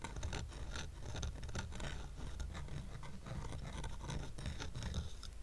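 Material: Painted wood.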